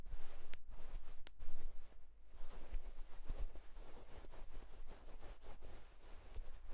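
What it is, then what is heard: Fingertips scratching a cotton terry towel. The fingertips of both hands scratch a white cotton terry towel, making a soft, continuous, quiet scratching rustle with a faint low rumble underneath. A couple of brief, brighter scratches stand out near the start, then the texture stays steady and fuzzy to the end.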